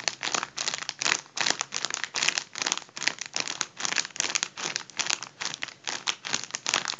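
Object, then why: Mylar foil balloon. Both hands crumple and squeeze a hollow, partly deflated gold mylar foil balloon. The result is a steady run of bright, crisp crinkling bursts with sharp crackles, high and thin with almost no low end.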